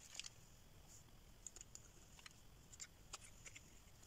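A solid pink rectangular bar of dry soap, held in the hand with flakes on its surface, is scraped and carved with a metal blade. About ten short, crisp, bright scraping clicks sound at irregular intervals over a quiet, steady low hiss, each dying away almost instantly.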